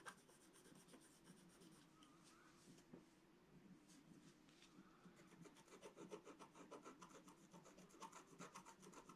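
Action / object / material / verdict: scrape / black-coated scratch-art card scratched with a wooden stylus / coated paper / none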